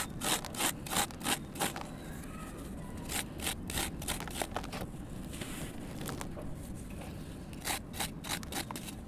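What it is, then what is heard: Soft sand-cement block shaved with a knife. A kitchen knife shaves a solid, soft red sand cement block held in one hand, making quick, rough scraping strokes as dry crumbs pour down. The strokes come in bursts, busiest at the start and end and quieter in the middle, each a bright, gritty rasp over a steady low rumble with a faint crumbly crackle between them.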